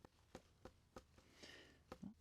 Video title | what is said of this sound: Comment savoir quand récolter ses légumes du potager | ça sonne un peu creux, mais tu espères vraiment entendre un son bien creux. On n'y est pas encore